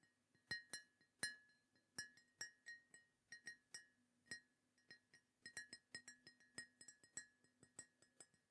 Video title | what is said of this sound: ASMR Mug Collection Tapping & Tingles ☕️ (Soft Spoken, British Accent, Ceramic Sounds) ✨ | it sounds great when you're tapping on it as well. It's got a really nice glaze on it, I assume, that just makes it sound lovely